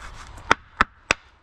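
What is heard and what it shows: Pieces of freshly cut, homemade wood are knocked together three times, giving sharp, dry wooden knocks with a mid-range tone around 1.4 kHz and almost no ring. A faint handling rustle comes before the first knock. They sound like ordinary wood.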